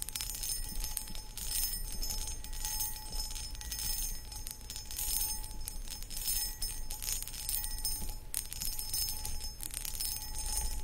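Long acrylic nails scratch over the textured surface of a hollow, empty, medium cut crystal glass footed pedestal bowl, with the hands partly hidden behind it. Continuous, bursty rasping fills the clip, carrying faint bright glassy ringing on top and a low rumble underneath.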